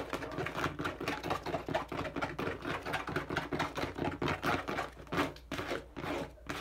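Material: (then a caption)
Plastic. Fingertips and nails tap and scratch quickly along the side of a hand-held, hollow, medium-size teal and dark blue plastic bottle. The result is a fast, uneven stream of dry, hollow taps and brushing scratches with short decays.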